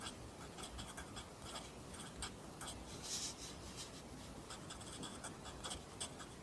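A pencil writes along the top line of a new page in a lined paper notebook held flat by the other hand, its graphite scratching the paper. The quiet, continuous scratching rises and falls in short bright strokes over a steady low background hiss.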